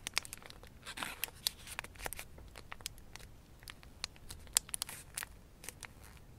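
Fingertips fold and pinch a thin blue origami paper crane in progress, a narrow folded form of small layered paper. Quiet, dry crinkling rustles are broken by many short, sharp, bright crackles and snaps, with a few louder pops. Each sound stops almost instantly, leaving little low end beneath the crisp paper noise.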